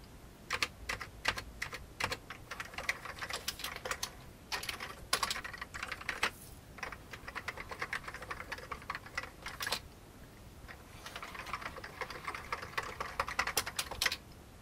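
Fingertips of one hand type on an old beige full-size plastic computer keyboard with hollow keycaps. Quick, bright, hollow key taps come in uneven bursts, with a brief lull around the ten-second mark before the typing picks up again. Each tap dies away almost instantly, with little low-end weight.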